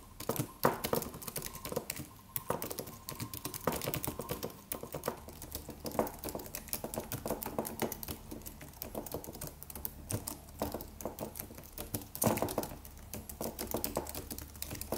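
Fingertips of both hands tap the white plastic keys of a slim, silver, low-profile aluminum computer keyboard with a solid body in a steady typing motion. The result is a dense stream of short, crisp clicks with little ring, occasionally broken by a louder single keystroke.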